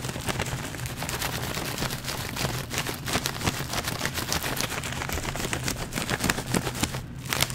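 A small, partly full printed plastic/foil snack pouch is held in one hand and crinkled and squeezed with the fingers. It makes a steady, dense crackling rustle of many sharp, quickly fading crinkles over a low, constant rumble, getting slightly louder toward the end.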